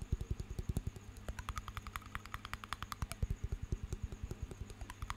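A small glass jar with water inside and a metal lid is turned in the hands while fingernails tap its glass side and lid. About three dozen quick, dry taps come in a steady run, mostly dull low knocks with some brighter clicks mixed in. Each tap dies away almost at once over a faint low hum.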